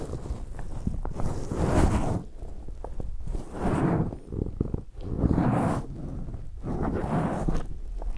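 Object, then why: Foam microphone windscreen rubbed with latex gloves. Latex-gloved hands clasp a black foam windscreen on a recorder, then rub and scratch it with their fingertips. The result is a dense, muffled, low-heavy rustling that rises and falls in several broad swells, with faint crackly scratches between them.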